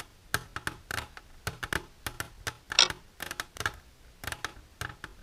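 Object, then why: Plastic container. Silver-painted fingernails tap on a plastic container for ASMR, making quick, bright clicks in irregular bursts. Each tap is short, dry and high-pitched, with almost no low end and very little ring.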